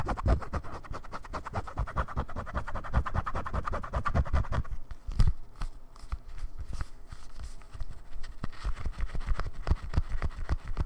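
A brown bifold leather wallet, held in both hands, is scratched and tapped with fingertips and nails across its outer surface. Dense, rapid scratching with soft taps continues throughout, with a brief louder tap near the middle. The sound is low and muffled, with little high-end.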